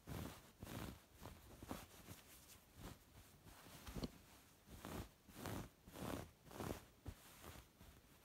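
Fingertips with long red nails scratch and rub a soft, dark grey chunky ribbed knit wool sweater. The result is a quiet series of short, uneven swells of scratchy, rustling friction noise, low and muffled with a faint bright edge.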